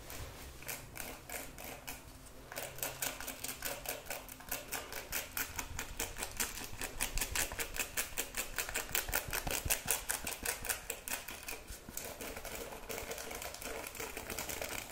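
Long red nails and fingertips rapidly scratch and flick across the ball-tipped pins of a hand-sized wooden paddle hairbrush with a cushioned pad, held near a mannequin head. The result is a fast, dense stream of crisp, bright clicking and scratching with a faint low hum underneath at the start. It grows louder toward the middle and then eases slightly.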